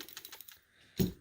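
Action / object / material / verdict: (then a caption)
shake / metal PCV valve / metal / clicking. A brand-new Mazda PCV valve (part V54113890) is shaken by hand, producing a quick run of about seven light, rattling clicks, a short pause, then one louder, fuller click. The clicking is normal for this valve; not all PCV valves click.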